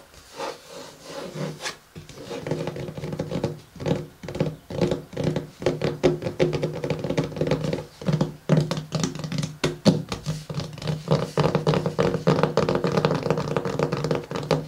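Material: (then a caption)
Cardboard. Fingertips tap quickly on the matte cover of a closed pink paper-covered hardcover journal resting on a table. They make a steady run of dull, low knocks mixed with light scratching.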